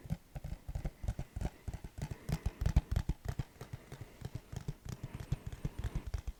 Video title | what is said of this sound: random items ASMR 💿 - tapping, tracing & rambling | It definitely sounds different than the regular case.